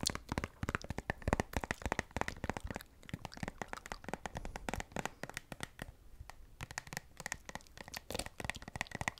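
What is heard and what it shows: A hand-sized, hollow, partly full white and blue plastic squeeze tube of moisturiser is held in both hands and tapped and scratched with long acrylic nails. The result is a quiet, steady stream of fast, dry clicking taps mixed with brief scratchy rustles, each tap dying away almost instantly.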